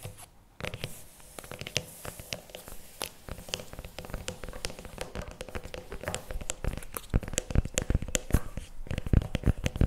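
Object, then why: Paperboard tub with plastic lid. Fingernails scratch and tap the plastic lid and paper sides of a CremaNovi paperboard chocolate spread tub. A dense stream of quick, dry taps and scratches with crisp, bright edges and dull low thumps builds steadily louder toward the end, each hit dying away almost instantly over a faint steady hum.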